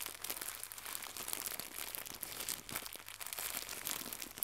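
A small white crinkly plastic gift bow is squeezed and crumpled between fingertips with red nails. The result is a steady, dense, bright crinkling and crackling that stays quiet and high-pitched with almost no low end, each tiny crackle stopping at once.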